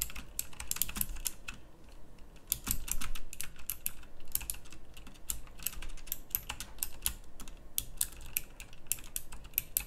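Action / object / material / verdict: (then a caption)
tap / mechanical keyboard with round plastic keycaps / plastic / none. Both hands type steadily on a pink backlit plastic mechanical typewriter-style keyboard with round plastic keycaps. Rapid, sharp, bright clicks come in quick, uneven bursts with almost no ring, over a faint low hum.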